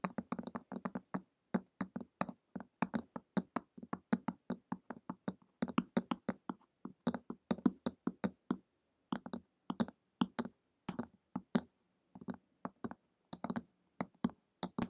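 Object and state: Hardcover book tapped with fingernails.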